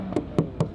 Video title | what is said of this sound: My Porsche 911 Carrera T - REVIEW; SPEC, SOUND & INTERIOR DETAILS! | it sounds like plastic but it's not